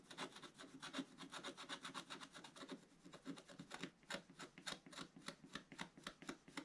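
A pointed wooden stylus repeatedly scratches the lower left of a black-coated scratch-art paper page in a bound book. Rapid, dry scraping strokes rasp one after another, with a bright, hissy edge over a low midrange body, and a short pause partway through before the strokes resume.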